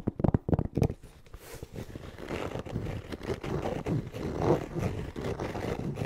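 Fingernails tap and scratch the textured fabric surface of a closed, hollow black hard-shell EVA zipper case close to the mic. A quick run of sharp, hollow taps opens the clip, followed by steady, low, dull scratching that swells and fades in soft rubbing bursts.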